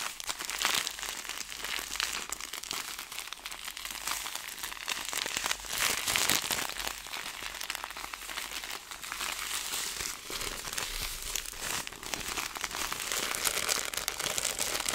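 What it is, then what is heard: Plastic zip bag of small seeds. A clear plastic zip bag of small seeds is gripped, squeezed and moved toward the camera, then held in both hands and crinkled with the fingertips. The result is a continuous, dense crinkling and crackling with soft swells, bright and high with almost no low end.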